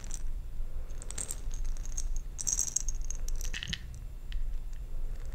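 A jar filled with small plastic perler beads is shaken and handled, producing a steady, bright rattle of many tiny clicks over a low background rumble. The rattling rises in brief louder bursts as the beads shift, then settles back.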